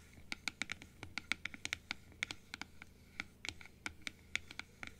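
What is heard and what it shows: Long nails scratch and tap on the blue plastic inner palate piece of a large, open plastic dental teeth model. The result is a quick, irregular series of sharp, dry plastic clicks and scrapes, bright and high with a tone around 2.2 kHz and almost no ring or low end.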